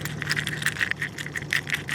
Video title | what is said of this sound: Les années creuses - Réalisé par Antoine TRACOU - 2011 | il y a encore des coquilles qui sont fermées mais au bruit ça ça sonne creux